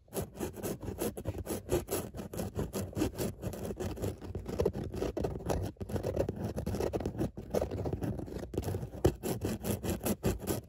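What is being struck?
Woven fabric car seat upholstery.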